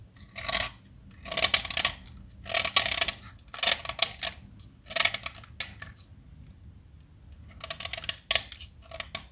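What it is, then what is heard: Chalk stick being shaved with a blade. A small solid teal blackboard chalk stick, held upright between the fingers, is shaved with a metal utility-knife blade. Short, bright, gritty scraping strokes come in bursts separated by quiet pauses, carving fine shavings off the chalk.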